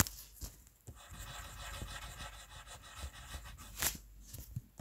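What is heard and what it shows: A red wooden colored pencil rubs and shades across a white paper coloring sheet, filling in a letter. The result is a soft, steady, scratchy rasp of graphite-like grain, with two brief louder, brighter strokes standing out.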